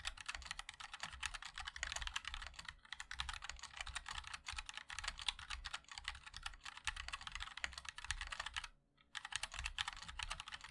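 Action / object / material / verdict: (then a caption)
tap / mechanical keyboard with plastic keycaps / plastic / none. Fingertips of both hands type continuously on a compact 60% MOD-L mechanical keyboard with a black case, white and black plastic keycaps, and linear switches. Dense, bright, clacky keystrokes with a soft low thump beneath run steadily, broken by one brief pause near the end before the typing resumes.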